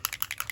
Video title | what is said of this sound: Warm and Cozy | As you can hear the bouncy ball on the inside there. That means it's shaking up.